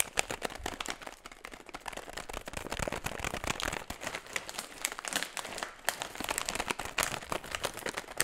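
An empty metallized plastic foil chip bag is held upright while fingertips tap and scratch its creased surface and crinkle it. A dense, continuous stream of sharp, dry crackles and taps fills the clip, bright and crisp with very little low end and no ring after each crinkle.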